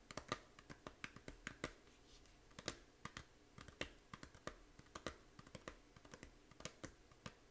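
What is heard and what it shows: Long painted nails tap the front cover of a small, hollow plastic Nintendo 3DS game case for Fantasy Life, with a printed paper insert, held up in the air. About 33 quick, dry clicks follow in uneven bursts, each sharp and bright with almost no ring, over a quiet background.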